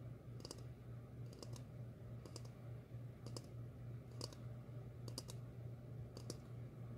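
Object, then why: Upturned ceramic bowl. A medium glossy red ceramic bowl, hollow and empty, is held upside down and tapped with long fingernails. Quick, light, bright clicking taps come in small clusters at an uneven pace, each with a short ring. A steady low hum runs underneath.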